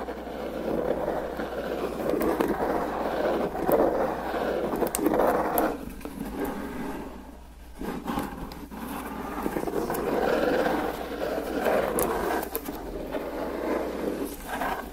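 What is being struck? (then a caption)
Corrugated cardboard box. Fingertips and nails tap and scratch the top and sides of a medium-sized, hollow, closed corrugated cardboard FedEx box with packing tape, resting on a black surface. Dry, papery scraping and soft, hollow knocks come in uneven bursts, with a brief quieter pause midway, centered in the low-mid range with little bass.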